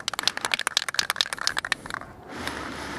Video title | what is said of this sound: How to wash your bike and clean your chain! | Now it sounds like a paint can because it's got stuff in there.